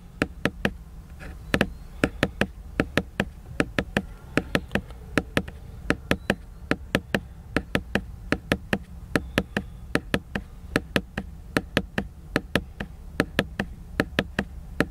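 Fingers tap a book for ASMR, producing a steady run of about fifty short, dry, sharp taps at an irregular pace over a low, constant background hum. Each tap dies away almost instantly with no ring.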